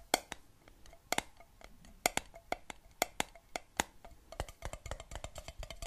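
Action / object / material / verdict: tap / glass jar with metal lid, partly filled with water / glass / none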